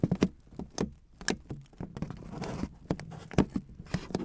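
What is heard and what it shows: Fingertips and long dark-painted nails tap and scratch crumpled aluminum foil wrapped around a microphone. The result is a string of sharp, close crinkly taps with a low thump, plus a stretch of softer continuous scratching rustle in the middle, each tap dying away almost instantly.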